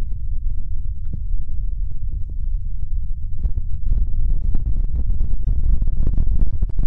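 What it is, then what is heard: Fabric throw pillow. Fingertips and nails tap quickly on and scratch a square, stuffed, printed fabric throw pillow. The result is a dense run of soft, muffled thumps, deep and low with a quick fade, and the tapping grows busier and slightly louder in the second half, with faint brighter scratchy ticks mixed in.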